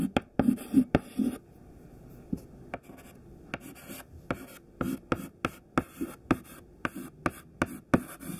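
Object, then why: Chalk stick on a chalkboard. A thin white stick of classroom chalk, held in the fingertips, writes a list on a black chalkboard. Dry, scratchy strokes alternate with sharp, crisp taps for the dots, separated by short quiet pauses. Each tap dies away almost instantly, and the scratching carries a low-mid body.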